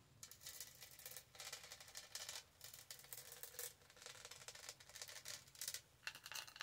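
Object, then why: Studded hollow plastic tumbler. Long nails scratch the studded sides of a tall, black, hollow plastic tumbler and the lid around its straw. The result is quiet, bright, rattling scratches in repeated bursts of rapid clicks over the studs, with almost no low end.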